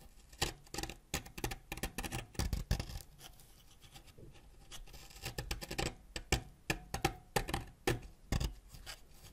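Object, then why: Wax crayon scraped with a ceramic blade. A yellow wax crayon, held upright over a pile of purple shavings, is scraped with a white ceramic knife blade so that yellow wax curls fall off. Quick, dry scratching strokes come in irregular bursts, with a quieter stretch in the middle before the scraping picks up again.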